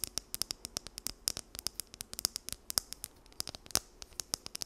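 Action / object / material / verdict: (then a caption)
scrape / plastic comb teeth scratched by fingernails / plastic / none. Long nails scratch and run along the teeth of a small, solid, blue plastic wide-tooth comb held close to the mic. The result is a rapid, uneven stream of about thirty sharp, bright ticks and clicks, each dying away almost instantly, with very little low end beneath them.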